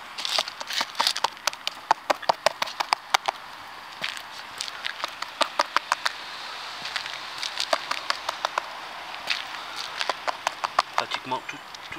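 The waterproofing on a roof is tapped along nearly its whole length during a roof leak investigation. It gives a rapid series of sharp, dry, hollow taps with a bright click and almost no ring. The hollow sound means the waterproofing is not bonded to the roof there.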